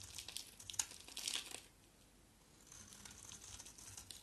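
A small, solid green bar of soap with a black coating is held in the hand and shaved with a box-cutter blade. The shaving makes crisp, bright, crinkly scraping bursts for about a second and a half, then goes nearly silent before softer, steady scraping resumes.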